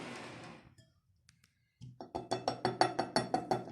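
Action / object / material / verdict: tap / fried dough ball in syrup / fried dough / crisp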